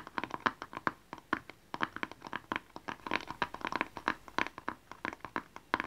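A small, hollow blue and white rectangular cardboard gift box with a barcode label is held in both hands and tapped with fingernails and fingertips. About 35 quick, dry taps sound in an uneven, rapid rhythm, each with a hollow knock near 1 kHz and a bright clicky edge. Each tap dies away almost at once.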